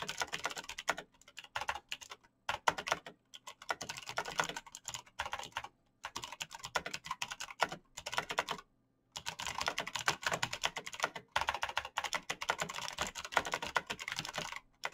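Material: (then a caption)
Plastic. Fingertips type fast on a black backlit mechanical keyboard with plastic keycaps and green clicky switches. A dense, rapid stream of sharp, bright clicks comes in bursts with little low end, and each keystroke dies away almost instantly. The typing breaks off briefly a few times, with the longest pause near the middle, before continuing steadily.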